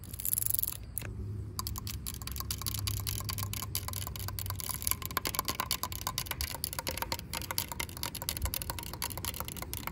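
Long pink acrylic nails tap quickly along the ribs of a corrugated yellow plastic safety cap, a hollow ribbed tube fitted on top of a chain-link fence. The result is a rapid stream of short, dry clicks with almost no ring, over a low rumble and a high hiss.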